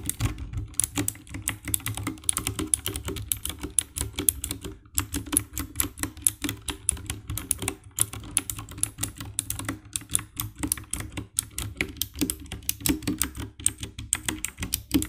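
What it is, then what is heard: Plastic mechanical keyboard. Fingertips type rapidly on the keycaps of a compact 60% black plastic mechanical keyboard with RGB backlight. The result is a steady stream of quick, dry clacks, each with a low thock and a bright click that stops almost at once.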